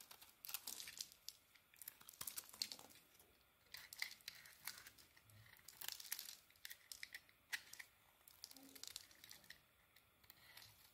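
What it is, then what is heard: Bar of soap being shaved. A small metal blade shaves curls off the edges of a yellow-orange bar of soap. Quiet, dry scraping and crinkly tearing sounds come in bursts of bright, short cuts throughout.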